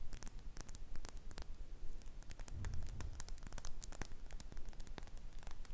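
Long red acrylic nails tap and scratch a small, hollow, glossy red glass cosmetic bottle held upright. Quick, sharp clicks and faint scraping ticks repeat at an uneven pace over a steady low rumble, each tap dying away almost at once.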